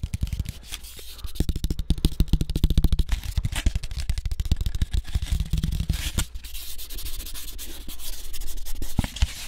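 Fingertips rub and scratch the surface of a thin, flat brown cardboard sheet cut out in the shape of a floppy disk. They make a fast, dense run of short scraping strokes with a low, heavy body and a dry, papery texture. The sound stays busy and steady for the whole clip, easing slightly toward the end.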